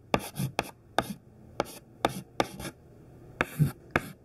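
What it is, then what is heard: Chalk writing on a chalkboard. A thin stick of white classroom chalk, held in the fingertips, writes the word CHALK on a large flat black chalkboard. About ten short, sharp scratching strokes tap and drag across the board, each with a gritty, bright rasp and a soft low knock, separated by brief pauses.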